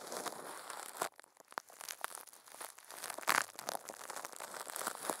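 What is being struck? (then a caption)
Thin plastic film wrapped over a microphone. Furry puppet hands squeeze and crinkle thin clear plastic film wrapped over a microphone head. The result is a steady stream of dense, bright crinkling and crackling with no low end, broken by a sharp loud crunch at about one second, a brief near-quiet lull, and another loud burst just past three seconds.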